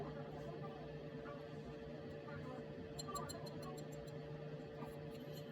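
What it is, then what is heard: Hard caramelized crème brûlée crust. A crème brûlée's brown sugar top, caramelized under the oven's top heat for 5 minutes and then chilled for 5 minutes, is tapped in a quick run of light, bright clicks over a steady low hum. The crisp knocks show the sugar crust has hardened as it should.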